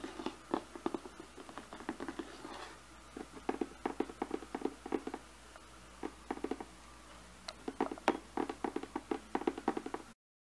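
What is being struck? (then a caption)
Glossy cardboard box. Fingernails tap and knock across the top and edges of a glossy cardboard slicer box. They make a long, uneven run of short, dry, hollow taps with a low-mid body. Each tap dies away almost instantly, with brief quieter pauses between bursts.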